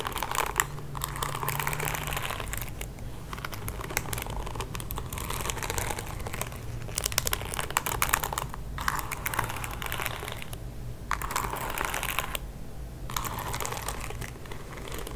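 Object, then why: Plastic paddle hairbrush bristles. Fingertips and nails repeatedly scratch and flick the plastic bristles of a pink plastic paddle hairbrush held close to the mic. The result is a dense, crackly, bright rustling of rapid ticks, broken by a few brief pauses, over a steady low hum.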